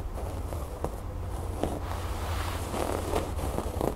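Fingernails scratch and pick at the raised brown cord embroidery on a cream fabric cushion, producing soft, dry scratching and rustling with brief, sharper catches as the nails snag the cord. A steady low rumble sits underneath the whole time.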